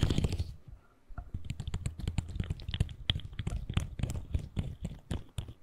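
A colorful articulated plastic fidget slug is compressed and twisted between fingertips, its segments clicking and rubbing together. A brief burst of rustling is followed by a short pause, then a steady run of quick, dry clicks and soft rubbing with a low, muffled body and little ring.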